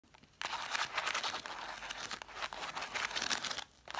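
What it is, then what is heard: Stack of cloth-bound hardcover books. Long dark acrylic nails scratch and tap the spines of a solid pile of about seven red cloth-covered vintage hardcover books. After a faint start, a dense, bright, crinkly scratching runs almost continuously for about three seconds with quick tapping accents. It drops off briefly near the end before starting again.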